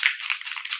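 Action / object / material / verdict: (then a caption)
shake / plastic spray bottle with liquid / plastic / none. A Too Faced Tutti Frutti collection makeup setting spray bottle is shaken, giving a quick, bright, maraca-like rattle with energy almost entirely above 1 kHz and no low end. The rattle is unusual for this bottle, and its cause is not confirmed.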